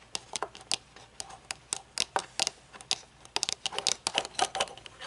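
Long nails scratch and tap the tinted lenses and along the metal rim of upright-held metal-frame aviator sunglasses with dark lenses. A quick, irregular series of sharp, bright clicks and ticks is heard, each dying away almost instantly, with faint scratchy rustling between them and no low end.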